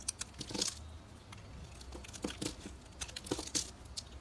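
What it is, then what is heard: Bar of soap being carved. A metal carving knife cuts and scrapes flakes from a solid, square, translucent orange bar of soap held in the hand. Short, crisp scraping and crunching bursts sound bright and papery. They carry a faint low rumble underneath, and each stroke ends quickly.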